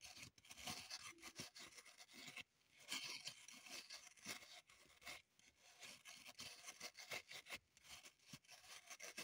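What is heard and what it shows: Long pointed nails scratch and dig into the surface of a small solid block of green floral foam (phenolic foam) held in the hand, with crumbs on the table. The result is a dense, bright, crumbly rasping made of quick, overlapping strokes with brief pauses between bursts, and it has almost no low end.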